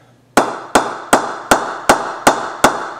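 A solid willow cricket bat, held by the handle, is knocked on the face with a wooden mallet seven times in quick, steady succession. Each knock is a sharp, woody tap with a bright mid-range ping that fades quickly before the next.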